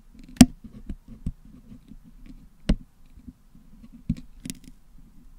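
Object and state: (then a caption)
Toothpick picking at a putty-packed metal mesh grille. A wooden toothpick picks at the hollow metal mesh dome grille of a Blue Yeti microphone that is packed with blue and yellow putty. Dull, low scraping and soft ticking runs throughout, broken by three sharper clicks with a brief bright edge.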